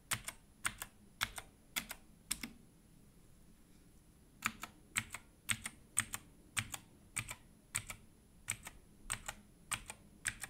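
Gloved fingertips press and type on a compact 60% Redragon mechanical keyboard with an orange case and grey and black plastic keycaps, resting on a dark table. Sharp, bright plastic clicks come in quick pairs and short bursts, with a pause of nearly two seconds before the typing resumes. Each click dies away almost instantly, leaving only faint low background hum between strokes.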